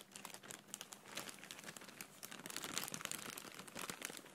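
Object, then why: Thin plastic air cushion packaging bag. A clear, thin, hollow plastic air cushion packaging bag with blue print is gripped and rubbed with the fingertips close up, making it crinkle. Dense, bright, dry crackling comes in quick overlapping bursts for about four seconds, with little low end.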